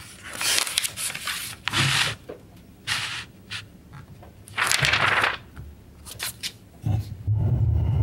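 An open glossy paper magazine, the August 1991 edition of Electronic Musician, lies on a wooden table while fingertips rub and smooth its pages and turn them over by hand. Bright, papery swishes and crinkles rise and fall in irregular bursts, with soft low thumps underneath and a steadier rustle at the end.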